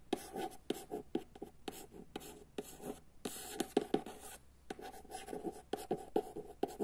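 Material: Paper.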